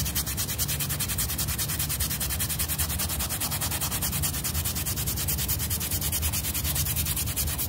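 A small, flat rectangular fabric rug, wet and dirty and held down by the fingertips, is scrubbed rapidly with a yellow bristle brush. Steady, fast back-and-forth strokes make a continuous raspy scrubbing with bright, hissy bristle noise over a low, dull rumble.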